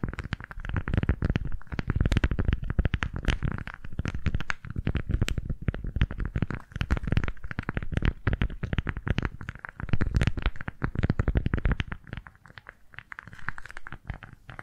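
A pink floral beeswax-coated fabric food wrap, folded small, is gripped, pressed and crinkled between both hands with fingertips and nails. It makes a dense, continuous stream of short, dry crackles and stiff crinkles with heavy, muffled low-end thumps, plus a faint steady tone near 1.3 kHz. The sound eases to softer, sparser crinkling near the end.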